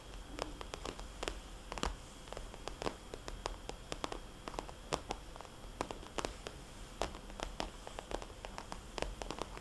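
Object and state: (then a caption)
Vinyl cosmetics bag. Long nails tap on and trace circles over a small, glossy red polka-dot vinyl cosmetics bag with a label on the back. The clip is quiet, with many short, soft, hollow clicks and bright ticks over a faint low hum, interspersed with light rubbing between the taps.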